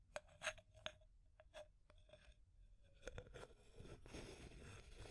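Long nails tap and scratch the wall of a small clear labeled plastic tube container with an aluminum screw lid. Quiet, sharp clicks each carry a brief ringing tone near 620 Hz. Dense, bright scratching then builds toward the end.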